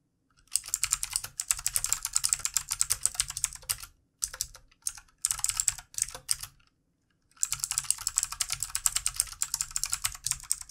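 Fingertips of both hands type on the plastic keycaps of a backlit plastic mechanical keyboard on a desk. Fast bursts of bright, clicky keystrokes come in runs with brief pauses, including a longer gap near the end before typing resumes.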